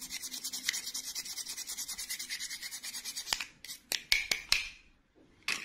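A small, hollow, pink glittery plastic clip-on doll dress is held in the fingertips and scrubbed with a red-black toothbrush over an empty white bowl. A fast run of bright, hissy bristle strokes gives way to a few separate sharp scratches, a brief silence, and one more scrub at the end.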